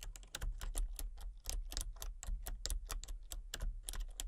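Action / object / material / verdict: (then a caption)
tap / plastic computer keyboard / plastic / none. Fingertips with long painted nails type rapidly on a full-size, backlit plastic RGB computer keyboard with hollow key switches and colour-cycling lights. The quick, bright, clacky taps are short and dry, with no ring, over a steady low hum.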